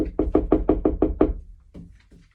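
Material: Wood.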